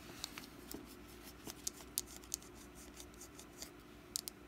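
Long black nails tap and scratch a small, solid orange wax pumpkin candle partly held in the hand. Quiet, sharp, bright clicks come in short bursts over a soft, steady scratching and a low background hum, each tap dying away almost at once.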